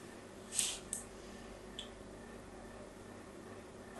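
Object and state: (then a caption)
Soap bar being scored. A thin blade scores a grid pattern into the surface of a solid pink soap bar held in the hand. A few short, bright, crisp scraping strokes stand out, the first the loudest, over a quiet, steady background hiss.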